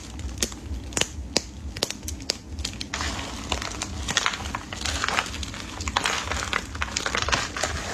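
Bare hands and fingertips press, crush and rub a large heap of multicolored dry soap flakes and broken brittle chunks in a plastic tub. Dense, bright crumbling and crackling fills the clip, with sharp snaps standing out over a soft low rumble and growing busier after about three seconds.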